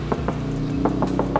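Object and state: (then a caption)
Sound-deadened car door, damped. Six knocks on the door of a Toyota Voxy fitted with two layers of sound deadening: butyl aluminium mat on the steel sheet metal and an acoustic insulator on the door trim. Each knock is a dull, short tap that sounds like plastic rather than bare metal sheet, showing the deadening damps the panel. The door also feels heavier.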